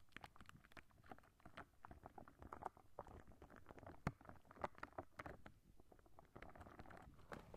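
A clear, soft rubber spiky squishy ball is held in both hands beside the microphone, squeezed while its spikes are plucked and scratched with long nails. The sound is a quiet, continuous stream of soft, dry squishing, tapping and crackling clicks, mostly low and midrange with little brightness. A sharper snap stands out around the four-second mark.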